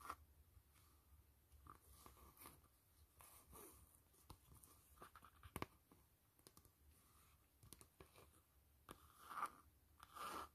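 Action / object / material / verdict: tap / faux leather glasses case / faux leather / none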